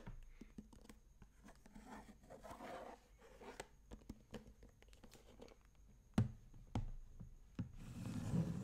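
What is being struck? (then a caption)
Plastic bento lunch box. A closed, hollow sage-green plastic bento box is turned upside down, and fingertips and nails tap and scratch its flat plastic base, giving soft, dull taps mixed with quiet scratching. A few sharper, louder knocks follow before the box is set upright and its lid is tapped with the fingertips, ending in a muffled handling rumble.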